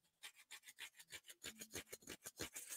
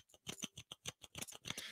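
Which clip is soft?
The first.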